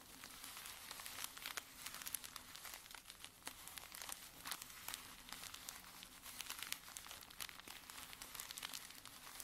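Fingertips and short nails rub and scratch the top of a small stack of folded filter-paper camomile tea sachets, soft and filled with dry tea, lying flat on a dark table. A quiet, steady stream of dense, bright papery crinkles and scratches continues for about nine seconds. It has many quick, dry ticks, almost no low end, and no ring after each touch.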